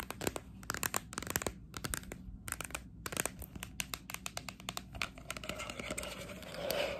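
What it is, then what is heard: Plastic training cone, scratched with nails. Long acrylic nails scratch and rub along the surface and base of a small hollow green plastic sports cone held close up. A fast run of sharp, dry, crinkly scratches and clicks with bright high edges stops dead with almost no ring. It ends in a louder, steadier rubbing hiss.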